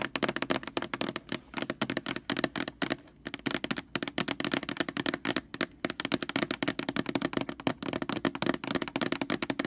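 Long nails rapidly tap and scratch the glossy label of a large white plastic Lysol laundry sanitizer jug lying on its side. A dense stream of short, dry clicks and rasps rides over a hollow plastic tone around 300 Hz. Each tap dies away almost instantly, with brief pauses between bursts.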